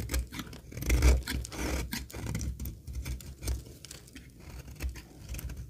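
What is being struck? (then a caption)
Laundry soap bar. A solid rectangular bar of dry green laundry soap, held in hand, is scraped and shaved with a metal box-cutter blade as shavings fall away. The result is a run of quiet, dry scraping and crackling strokes with soft low thuds, the loudest burst near the one-second mark.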